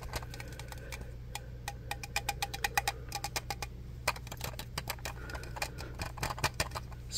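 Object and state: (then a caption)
Metal aerosol can. Fingertips tap and scratch the side of a teal and black shave cream can, a hollow metal aerosol about hand-length held in one hand. A rapid, uneven run of light, bright ticks rings briefly with a metallic tone near 800 Hz, mixed with soft scratching. A steady low hum sits underneath throughout.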